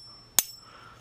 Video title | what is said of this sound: Make Money Scrapping a Flusher From a Urinal | you can always tell brass cuz brass Rings like that